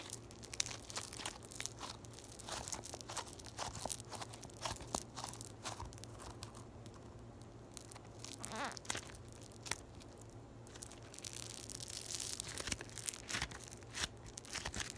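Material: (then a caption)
Foam beads. A yellow floam ball, a solid mass of foam beads in slime, is squeezed and pulled apart by fingers with long nails held close to the microphone. Dense, bright crunching, crackling and tearing pops come in quick irregular bursts over a faint steady low hum.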